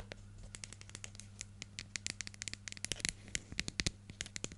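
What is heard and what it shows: Long nails scratch and tap the lid and label of a hollow, medium yellow plastic hair gel jar with a screw lid, held in the hand. The result is a rapid run of short, bright clicks and scratchy ticks with almost no ring, over a steady low hum.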